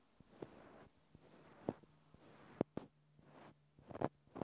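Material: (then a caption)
Cork. A small, solid, cylindrical natural cork stopper is held in the hand while its top face is tapped and scratched with a fingertip and fingernail. Soft, dry taps come through as short, dull knocks with a low-mid body, set between stretches of faint, papery scratching that carry a bright hiss. The taps stop almost instantly with no ring.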